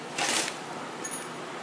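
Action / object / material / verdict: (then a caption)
shake / metal thermostat valve fragments in a small pot / metal / broken. Loose metal fragments of a burst thermostatic valve from a Fiat Strada 1.8 8v engine, broken apart by corrosion, clink inside a small pot. Two bright metallic rattles are heard, a longer jingle followed by a faint, high ringing tap.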